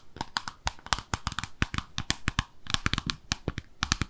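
A small white-pink glossy oval ceramic soap dish with drain holes, peg feet and a hollow underside is held in both hands and tapped and scratched with long acrylic nails. About 25 quick, dry clicks come in an irregular run, each with a short bright edge and a low body that dies almost at once, with faint scratchy rasps between them.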